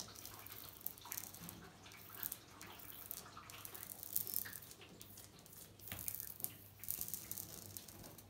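Long nails tap and scratch across white glazed ceramic bathroom wall tiles with a mosaic border, working over both the tile surface and the grout. Quiet, bright clicks and scraping rasps overlap continuously, with a few sharper taps standing out.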